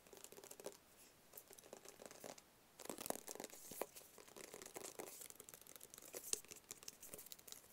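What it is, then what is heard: Cardboard gift box. Fingertips and nails tap and scratch close-up on a small, hollow, rigid black cardboard Tommy Hilfiger gift box. Quiet, dry, crackly scratching and quick, short taps come in clusters with brief pauses, bright and papery with little low end.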